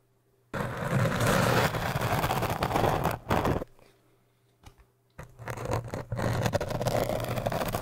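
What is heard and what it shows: The edge of a business card, held in the fingertips, is dragged and scraped across the solid surface of an upright orange hard foam cylinder. It makes a dense, rough, scratchy scraping that runs for about three seconds, drops to near silence with a couple of faint ticks, then resumes and continues steadily to the end.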